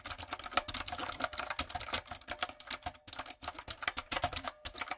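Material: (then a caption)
Plastic. Fingertips and long coffin nails tap rapidly on a typewriter-style backlit mechanical keyboard with round brown plastic keycaps on a dark frame. A steady stream of bright, crisp clicks and clacks follows, each short and dry with almost no low end.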